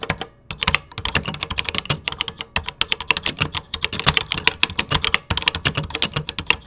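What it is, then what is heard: Plastic computer keyboard. Fingertips type rapidly on the beige keys of a vintage 1980s plastic computer keyboard. A fast, steady stream of sharp, bright clicks sounds with a short pause near the start, each keystroke dying away almost instantly with only a faint low thump beneath.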